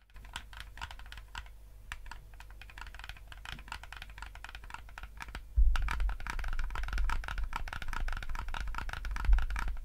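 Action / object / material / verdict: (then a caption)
tap / plastic game controller / plastic / none. Fingertips rapidly click buttons and tap on a yellow hollow plastic gamepad, giving a dense, irregular stream of short, dry plastic clicks. Around the halfway point the clicking becomes louder and busier, over a steady low hum.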